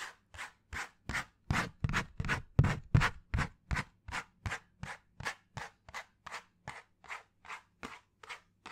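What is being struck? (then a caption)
Cardboard sheet. A flat, hand-sized piece of brown cardboard held close to the microphone is scratched with fingernails in 23 quick, rhythmic strokes. Each stroke makes a short, dry, raspy scrape spread across mid and high tones, with a faint low hum underneath. The strokes are loudest in the middle and fade slightly toward the end.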